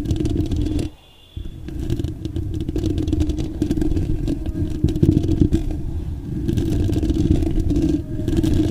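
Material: Metal mesh.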